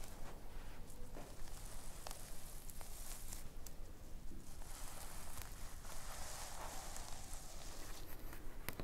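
A flat, padded rectangular item covered in reversible purple and pink plastic sequins on fabric is scratched and tapped with long painted nails and rubbed with fingertips. The result is a steady, soft bed of crisp rustling and scratching, dotted with brief bright clicks and ticks from the sequins over a low, dull rumble.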